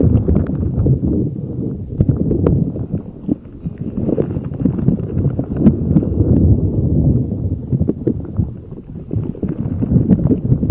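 A palm-sized, neon-yellow, spiky rubber puffer ball, soft and squishy, is held in both hands and squeezed and rubbed with the fingertips. It makes a dense, low, muffled squishing and rubbery creaking that runs continuously, with quick soft taps and occasional brighter clicks scattered throughout.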